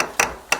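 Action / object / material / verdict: tap / magnesium cement plaster on a dome wall / cement plaster / solid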